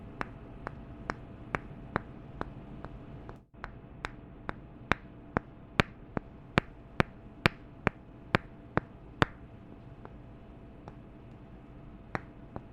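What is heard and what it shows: Two wooden candle lids are tapped together in around twenty sharp, dry clicks at a steady pace, each dying away almost at once. The taps come evenly for about nine seconds, then thin out to a few scattered ones over a low, steady background hum.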